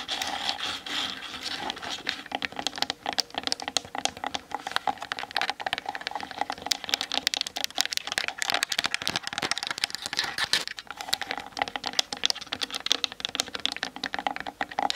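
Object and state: Plastic camera body tapped with nails.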